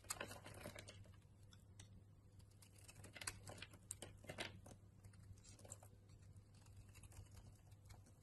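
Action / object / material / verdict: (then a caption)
scrape / bar of soap scraped with a knife blade / soap / none. A utility knife blade scrapes and carves curls off a solid purple Harmony bar soap held in the hand. Short, dry scraping and crackling strokes come in quick irregular bursts over a steady low hum.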